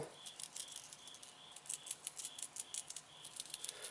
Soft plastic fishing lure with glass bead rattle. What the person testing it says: it's a decent rattle it's a little bit small